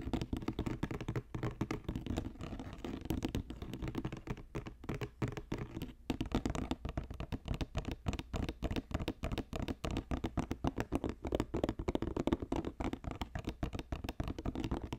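Fingertips and nails tap fast near the edge of a hollow, box-shaped green basket woven from plastic strips, about 20 cm across, resting on a fur rug. The result is a dense, continuous run of short, dull taps with a soft scratchy texture, mostly low-pitched with little brightness and almost no ring after each hit.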